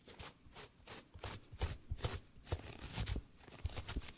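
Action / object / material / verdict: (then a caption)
flick / paperback book, paper pages / paper / none. A small paperback book with a cream paper page block and green cover is held in both hands close to the microphone while fingertips and thumbs riffle and rub the page edges. The result is a run of fast, crisp paper flicks that sound like shuffling cards, with soft low thumps under the bright rustle.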